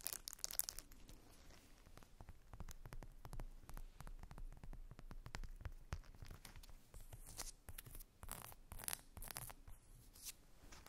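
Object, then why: Silicone facial cleansing brush. Long nails scratch a small round silicone facial cleansing brush, first across its back and then over the bristle side as it is turned over. The result is a dense, quiet run of dry, crackly scratching with short bright bursts near the start and again toward the end, over a faint low rumble.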